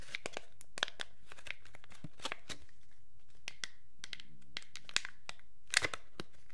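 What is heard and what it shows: A thin, empty, hollow clear plastic packaging sleeve is held in both hands while fingertips crinkle and rub it. Quiet, irregular bursts of bright, crisp crackling and crinkling come in quick, uneven succession, each snapping off short with little ring.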